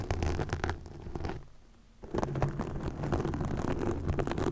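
Long nails scratch and rub a green plastic mesh net stretched over a microphone, making dense, crackly scraping with a low rumbling body. The rough rubbing runs steadily, drops to a soft near-quiet pause around the middle, then resumes with louder, busier scratching to the end.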